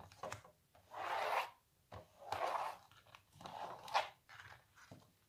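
Long natural nails scratch across the surface of a small printed canvas on a wooden stretcher frame, hollow behind, lying on a larger painting. Several rasping scratch strokes swell and fade, centered in the midrange with a papery, hollow texture. Softer scrapes and light taps fall between them.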